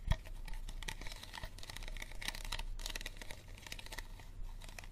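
An empty, hollow, clear plastic water bottle is held upside down while fingertips and nails tap and scratch its ridged bottom. Rapid, light, crinkly taps and scratching strokes carry a bright edge and die away almost instantly. One sharper tap stands out near the start.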